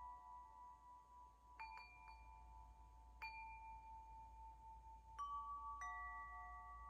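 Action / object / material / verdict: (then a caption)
shake / metal tube wind chime / metal / none. A hollow metal tube wind chime, held by its string in front of the face, is gently shaken so its tubes strike each other in a few clustered taps. Each strike leaves clear, overlapping tones around 1.1 kHz, with bright overtones, ringing for nearly two seconds. The chimes play over a quiet, steady low hum.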